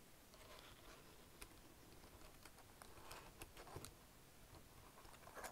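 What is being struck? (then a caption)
Plastic keyboard keys. Fingertips type on a black plastic wireless chiclet keyboard, pressing keys including Shift. Soft, quick clicks and taps patter unevenly over a low, steady background hush, with a few brighter, sharper keystrokes standing out near the middle and end.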